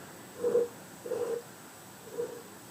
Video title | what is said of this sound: 4PinchPotLeatherHard | the sound when you tap it, it should be more of like a drummy kind of beat. It shouldn't be a dull, high-pitched beat.